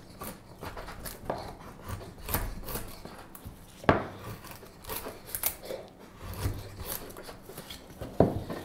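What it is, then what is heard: Wooden spoon blank being carved. The handle of a solid light wood spoon blank is shaved with a straight steel carving knife. A series of dry, scraping cutting strokes rasps along the wood, with a few sharper, louder bites standing out among the softer shavings.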